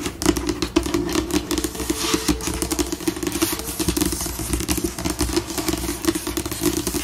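Long pink nails tap and scratch a glossy white solid laminated tabletop, shifting between slow and fast pace. Dense, short clicks and bright scraping strokes run throughout, over a steady low-mid tonal band.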